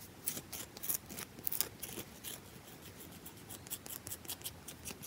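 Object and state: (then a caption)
Bar of soap scratched and tapped with nails. Long acrylic nails quickly scratch and tap the top surface of a round, solid bar of soap held in one hand. A rapid run of about nineteen short, dry taps and bright, high scratches sits over a soft, steady rasp, with each sound stopping almost at once.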